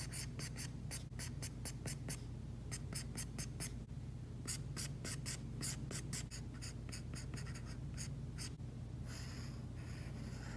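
A plastic Apple Pencil tip makes dense, short strokes and taps on an iPad screen fitted with a matte plastic screen protector, a flat, solid tablet surface, while shading. Quick, bright, scratchy ticks come in rapid runs over a steady low hum. Near the end, a longer, continuous rubbing scratch follows.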